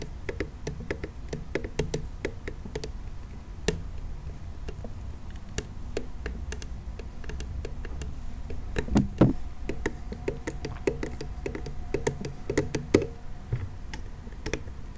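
A hollow pink plastic toy monster car, held close, is tapped with fingernails and fingertips in a steady run of light, quick knocks. The taps are dull and low with a hollow tone and die away almost at once, with a few brighter clicks mixed in.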